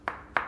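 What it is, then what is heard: Solid floor tile. Two sharp taps on ceramic kitchen floor tiles laid on a concrete slab, each a short, bright knock centered in the midrange that dies away quickly. These tiles sound solid and well bonded, serving as the reference before a hollow one is found.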